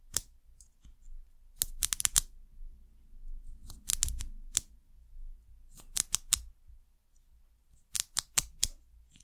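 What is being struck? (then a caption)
Ridged plastic bottle cap. Long nails tap and scratch a white ridged plastic cap on a small amber glass bottle. Sharp, bright clicks come in quick clusters, each dying away almost instantly, with soft scratchy rustling between them.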